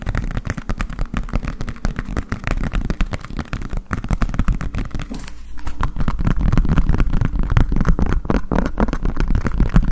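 Fingertips and nails tap rapidly on the base and ridged sides of a green collapsible silicone bowl, hollow and empty, held over a microphone. The taps are dense, fast, deep and thumpy, each dying away almost instantly, with a brief quieter stretch in the middle before they return louder.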